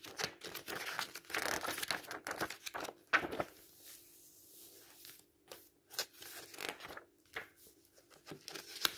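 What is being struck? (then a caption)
Paperback book with paper pages. Fingertips rub the paper pages of a thick open paperback book, then squeeze, bend and turn them with crinkling flicks. Dry, bright papery rustles and sharp crinkles come in uneven bursts with short quiet gaps, over a faint steady low hum.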